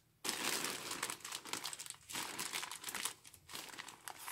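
Gloved fingers grip and pull the opened edge of a large, filled, grey star-printed polyethylene courier mailer bag. Dense, bright crinkling of plastic starts abruptly after a brief silence and continues in rustling bursts. There are short lulls just after two and three and a half seconds.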